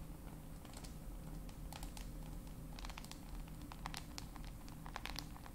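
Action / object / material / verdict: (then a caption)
tap / smartphone with glass screen and plastic body / glass, plastic / none. A black handheld smartphone with a glass screen and plastic/metal body, held in both hands near the microphones, is tapped and scratched with very long pointed acrylic nails. Soft, quick clicks and brief scratchy ticks scatter throughout over a steady low hum.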